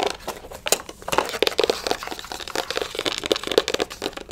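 Long acrylic nails scratch and rub the flat printed surface of a small, closed, printed cardboard retail box for a sleep mask, held in the hand. The result is a rapid, uneven series of dry, crinkly scratches and taps with bright hiss, almost no low end, and very short ring.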